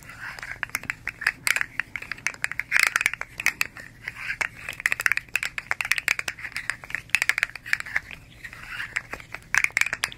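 A hand-sized, hollow fidget slug made of hard plastic segments striped red, blue and yellow is held in both hands, flexed and rolled while long nails rub along it. The segments give off dense, irregular bursts of dry clicks and crunching crackles, with soft scraping in between. The sound is bright and sharp, centred around 2.6 kHz, and each click stops dead with no ring.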